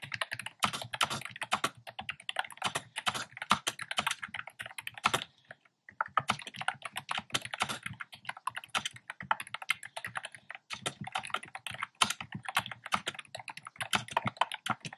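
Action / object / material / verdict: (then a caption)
tap / plastic keyboard with round keycaps / plastic / none. A black plastic keyboard with hollow, round, pastel retro keycaps is typed on quickly with fingertips. Dense bursts of short, bright, clicky keystrokes run throughout, with a brief pause around the 5.5-second mark before the rapid typing resumes.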